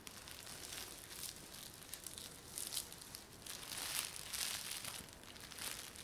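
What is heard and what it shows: A thin, clear plastic film bag wrapped over hair is rubbed and crinkled by fingertips and palms. Soft, hollow, bright crinkling rises and falls in overlapping bursts, heard close and quiet with almost no low end.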